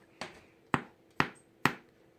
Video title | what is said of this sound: Easy Dutch oven bread part 2 | sounds hollow. That's exactly what you're looking for.